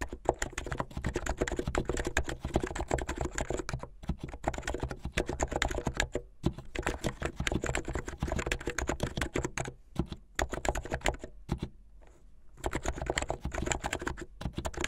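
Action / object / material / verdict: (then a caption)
tap / plastic mechanical keyboard / plastic / none. Fingertips with medium light-blue nails type fast on a plastic mechanical keyboard with white and blue plastic keycaps. Dense, rapid runs of short, dry clacks carry a solid low thump, with brief pauses near 4, 6.5 and 10 seconds and a longer gap around 12 seconds before the typing resumes.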